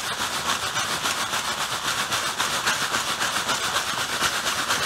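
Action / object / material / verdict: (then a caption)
scrape / plastic bag filled with artificial snow / plastic / none. A clear plastic bag full of white artificial snow is held in the hand while fingertips squeeze and rub it. The thin plastic crinkles and the granules shift in a steady, bright, hissing rustle with a quick repeating texture. The sound has almost no low end.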